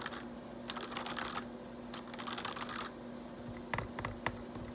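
Fingertips type and tap on the keys of a black plastic RGB backlit computer keyboard, giving bursts of quick, bright clicky clatter with a few sharper taps near the end. A faint steady low hum runs underneath throughout.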